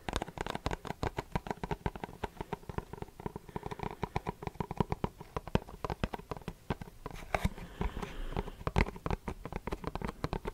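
A small, hollow, light-blue printed cardboard Versace perfume box, held in one hand close to the microphone, is tapped rapidly with fingertips and nails. The taps are dry, quick and hollow, with a low papery thump and no ring. Near the end, a soft scratchy rustle runs under the taps.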